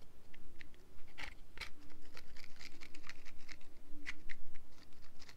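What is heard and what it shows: A small printed yellow and white cardboard box is held close to the microphone and tapped and scratched with long nails. Quick, light clicks and scratchy taps come in an uneven run, each one dry and short with bright, crisp edges over a soft low hum.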